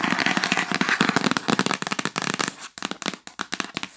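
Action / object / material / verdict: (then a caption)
tap / cardboard gift box / cardboard / none. Fingernails rapidly tap and scratch on the lid of a yellow printed cardboard gift box, first lying flat and then held. Dense, crisp clicks with bright scratchy texture fill the first half, then thin out into sharper, spaced taps with short pauses between them.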